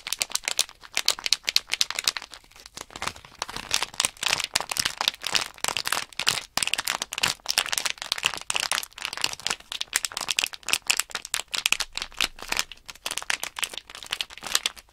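Hands shake and crinkle a small sealed plastic Nanoblock package bag full of tiny loose plastic blocks, which rattle inside. The sound is a dense, continuous stream of bright, crisp crinkling and quick clicky rattles, with almost no low end and no ringing between bursts.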